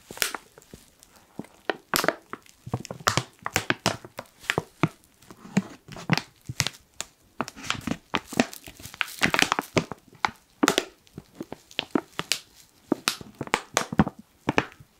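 A medium, apparently filled, black matte foil-lined plastic Lyons coffee pouch with a zip top is held in both hands and crinkled and squeezed with the fingertips. Dense bursts of dry, bright crackling and crinkling rise and fall throughout, with short sharp snaps among softer rustles that die away almost instantly.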